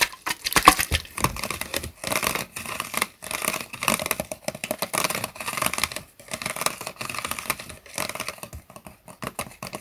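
Fingertips tap and scratch the sides of a clear, hollow PET plastic bottle, partly filled with water and held upright, with a plastic straw through its white cap. Rapid, crisp clicking taps and dry scratching come in quick bursts with brief pauses, sounding bright and thin with very little low end. Each tap dies away almost instantly.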